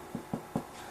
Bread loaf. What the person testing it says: this sounds hollow which it does it's fully cooked